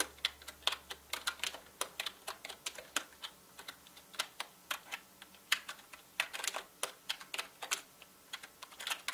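Fast fingertip typing on a full-size black mechanical gaming keyboard with plastic keycaps and a hollow body, producing a quick, uneven stream of sharp, bright clicks. The keystrokes are short and dry with little ring, some landing harder and louder than others.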